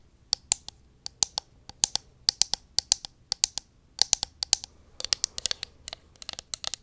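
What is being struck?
Plastic cosmetic pump bottle.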